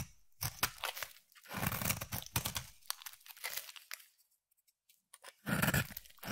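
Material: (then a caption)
Soap. A utility knife blade scrapes and shaves thin curls off the surface of a solid oval green bar of soap held in the hand. Dry, crunchy scraping strokes come in short bursts with bright, crinkly edges and a low, soft body, broken by a near-silent pause before a final louder shave.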